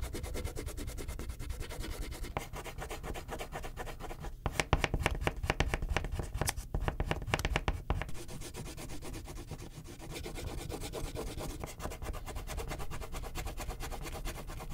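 A hand rubs a purple wax crayon back and forth across a thin printed paper coloring sheet lying flat on a clipboard, shading the background. The rapid, steady strokes make a dense, low-heavy rasping scratch that grows louder and sharper in the middle before settling back to an even rub.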